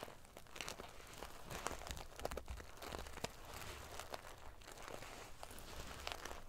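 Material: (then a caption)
Metal sequins. Fingernails scratch and ruffle the metal pieces of a silver metal paillette, sequin-covered pillow. The result is a continuous, prickly crinkling rattle with many sharp, bright clicks and scrapes over a low rumble.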